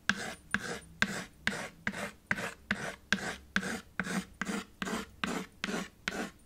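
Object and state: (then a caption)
Chalk on a chalkboard slate. A white chalk stick is scraped and drawn across a small black chalkboard with a red wooden frame, lying flat. Sixteen quick, raspy strokes sound in a steady back-and-forth rhythm, each starting with a sharp scratchy attack and trailing into a gritty, bright hiss.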